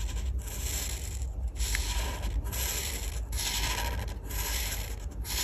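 A felt-tip art marker held in the fingers rubs and scratches back and forth across a flat printed paper colouring page on a table while colouring in a bread slice. Steady, bright scratchy strokes sweep in repeated passes over a low rumble, with short pauses between strokes.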